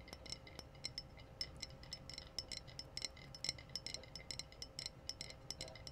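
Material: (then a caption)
Glass. Long fingernails tap the body of a clear, empty-looking glass wine bottle with a red foil capsule, held in both hands. A quick, irregular run of bright, high clinks rings and dies away almost instantly, over a faint low hum.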